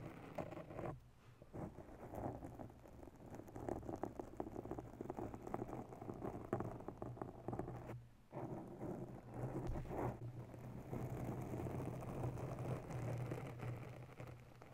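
Long bare nails scratch rapidly all over a round grey foam microphone windscreen. The result is a dense, crackly rustling with a heavy low rumble and softer mid-range scratches. Brief dips near the first second and around eight seconds interrupt the steady scraping.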